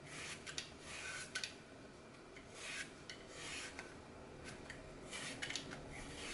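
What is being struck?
Floral foam block with glittery coating.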